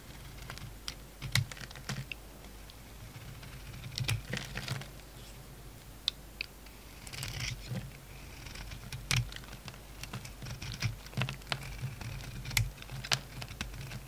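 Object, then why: Bar of soap cut by a knife blade. A utility knife blade shaves flaky chunks off a solid bar of soap with a purple coating and an orange-yellow interior, held in the hand. Crisp, dry, bright clicks and short scraping crackles come at an irregular pace over a steady low hum, with each cut ending almost instantly.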